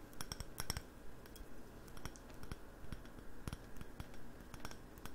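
A hollow, mid-sized glossy navy-blue ceramic candle jar with a light wooden lid is held in both hands and tapped on its side with the fingernails. Quick, unevenly spaced clicky taps with bright tops die away almost instantly over a soft low rumble.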